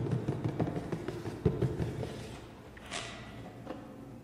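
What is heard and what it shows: A hollow black printed cardboard box is tapped with the fingertips while held close, giving a quick run of dull, low, hollow thumps that die away almost at once. The taps grow softer over time, and a brief brighter scuff is heard as the box is lowered at the end.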